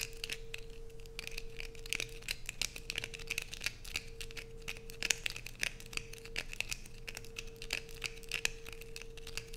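Long nails repeatedly scrape curls off the top edge of a light-blue bar of soap held close up. The result is a dense run of crisp, bright scratching and crackling clicks over a faint steady low hum.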